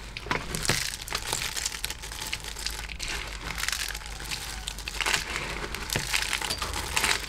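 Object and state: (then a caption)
Crushed soap shards. A large tray-filling pile of small, hard pink, grey and black soap flakes from crushed soap disks is dug into, scrunched and rubbed with both hands and fingertips. It makes continuous bright, crunchy crinkling, with sharper crackles scattered throughout.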